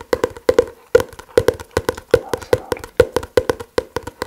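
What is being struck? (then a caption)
Paper book. A paper book is tapped with the fingers in a steady, quick rhythm of 28 dry, hollow taps centered around 490 Hz. Each tap dies away almost instantly with no ringing.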